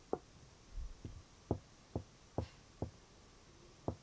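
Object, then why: Wooden chest of drawers, drawer front. Knuckles and fingertips of a half-curled hand knock on the hollow drawer front of a large, glossy wooden chest of drawers. The result is a series of short, dull, low wooden knocks at an irregular pace, each dying away almost at once, with a faint low rumble between them and possibly a cicada in the background.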